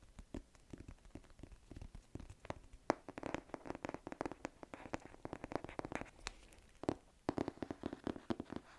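A thick hardcover book with a printed cardboard cover is held in both hands while fingertips and nails tap its cover and edges. The quiet, dry taps and light scratches come in rapid, uneven clusters, with a few sharper knocks near 3 and 7 seconds. Each tap dies away almost instantly, with a muffled, mid-low tone.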